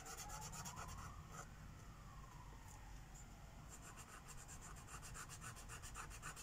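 A teal Sharpie marker tip rubs over a flat paper coloring book page lying on a wooden table, filling in shapes with small, quick strokes. The result is a soft, steady scratching with bright squeaky bursts, about three or four strokes per second, over a low background rumble. A faint tone that rises and falls, like a distant siren, drifts through early on.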